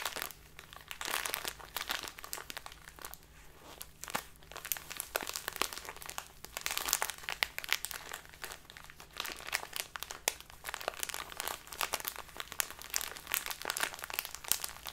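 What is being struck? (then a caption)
Small plastic bag of loose tea. A small clear plastic bag with a label, full of dark loose tea, is crinkled and scratched with long dark-polished nails. The result is a steady stream of quiet, bright, crisp crinkles and scratchy ticks with almost no low end.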